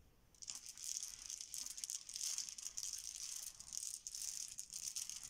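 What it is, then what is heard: Plastic game tiles. A heap of small solid plastic Bananagrams game tiles is swirled around on a marble counter with flat hands and fingertips. After a brief quiet start, the tiles clatter against each other in a continuous, dense, bright rattle with no low end.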